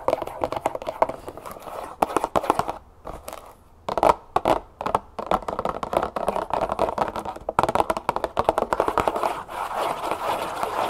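A medium cardboard box of brown cane sugar, apparently full, sits upright on a table while long nails rapidly tap and scratch its faces and top. The clip is a dense stream of short, dry, papery clicks and scrapes, mostly in the midrange around 860 Hz, with brief pauses between bursts of tapping.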